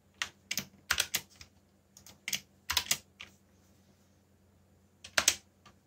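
Fingertips slowly press keys on a backlit mechanical keyboard with black plastic keycaps, producing sparse, bright, short clicks in small irregular bursts. A quiet gap of nearly two seconds comes before a final cluster of keystrokes, over a faint low hum.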